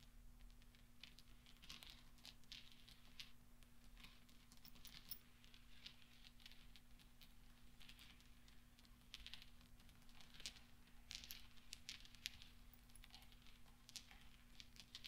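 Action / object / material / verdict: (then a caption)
tap / small steel balls / steel / none. Fingertips push small solid steel pachinko balls resting on velvet into a cluster, producing a steady stream of soft, bright metallic clinks and light ticks. The contacts are quiet and very short, with no ring, over a constant low hum.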